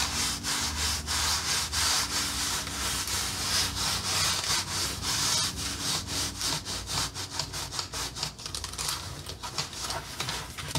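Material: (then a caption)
Wood. Long glittery nails and fingertips scratch and tap along the flat slats and round knob pegs of a solid, red painted wooden accordion peg rack lying on a dark fabric surface. The sound is a bright, dry rasping, like sawing or rubbing, broken by quick, irregular taps that grow choppier toward the end.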